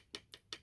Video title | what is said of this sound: Hifiman Arya Stealth Not Plastic! | there's a thud there's no sing to it plastic